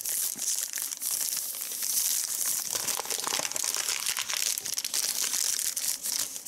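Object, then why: Thin paper sheet. A large, thin, crinkled white paper sheet spread on a leather seat is rubbed and smoothed with the palm and fingers. The result is a steady, bright crinkling with dense, crisp crackles and a high hiss, with almost no low end. The sound stays fairly even in loudness throughout.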